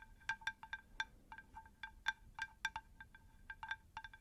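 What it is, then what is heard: Terracotta plant saucer. A round, shallow, unglazed terracotta plant saucer is tapped on both faces with long nails. Each tap gives a short, bright ringing tone near 1.6 kHz, layered with higher overtones and faint low rumble beneath. The taps come in a quick, irregular patter of about eighteen hits.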